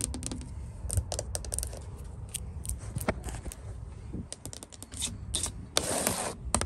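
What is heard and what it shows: Long nails tap rapidly on the white-painted solid wooden top rail of a porch handrail. Quick, dry clicks with a dull low knock underneath stop almost instantly, and a brighter scratchy burst rises near the end.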